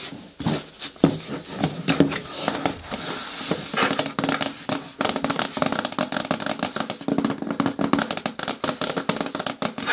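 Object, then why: Hard plastic bin with lid. Long natural nails tap rapidly on the side of a hollow green hard plastic lidded bucket turned on its side, then on its flat lid. The taps are short and dry with a hollow, mid-low body and bright clicky edges, quickening into a dense, steady patter in the second half.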